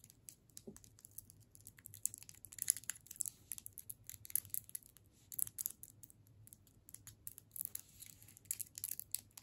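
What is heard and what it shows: A solid red and white striped hard candy cane in a plastic wrapper is held in both hands and tapped and scratched with long pointed nails. Quick, quiet, bright clicks and crinkly scratches come in irregular bursts over a faint low hum, each tap dying away at once.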